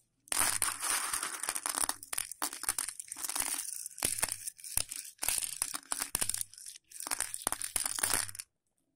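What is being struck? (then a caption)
Dry elbow macaroni on a plate. Fingertips rub and grab a pile of dry, raw elbow macaroni (hollow tubes) on a patterned plate, the pieces rattling against each other and the plate. Bursts of bright, crunchy, crinkling rattle are broken by brief silent pauses, with dense clicks that die away almost instantly.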